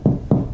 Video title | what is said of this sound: The BEST and CHEAPEST Way To Sound Deaden Your Car!! | it's way more of a thud than a ting